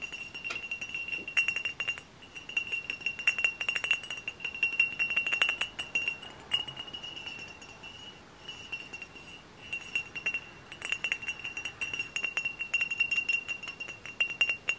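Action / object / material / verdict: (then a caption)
tap / glass bottle / glass / none. Close-up tapping on a glass hard cider bottle produces a rapid, steady stream of light clinks. Each tap gives a bright, short ring centered around 2.7 kHz, with almost no low end and brief quieter pauses between bursts.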